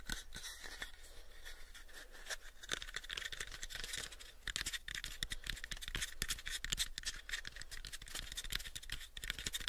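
A pale, unfinished, hollow small wooden box is held in both hands while fingertips and nails tap and scratch across it. The result is a steady, quick run of dry, bright clicks and scraping rasps with very short ring, over a faint constant low hum.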